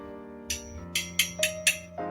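A vintage chromoly steel road bike frame tube, whose tubing is thinner, is tapped five times, each tap giving a bright, high-pitched metallic ping that rings briefly over a faint steady hum. The tubing rings brighter than a hi-ten steel frame, which marks it as chromoly.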